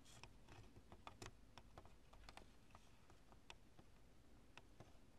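Long nails tap and scratch the lumps of a cured polyurethane spray foam chunk with stringy strands. The sound is a quiet series of sharp, dry clicks and brief scratchy ticks over a low background rumble. Each click reaches up into bright highs and dies away almost instantly.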